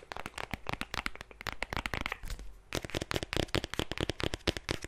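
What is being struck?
Eyeshadow palette case.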